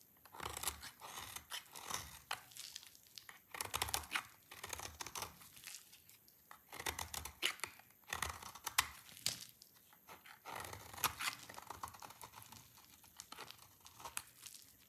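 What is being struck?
Bar of soap.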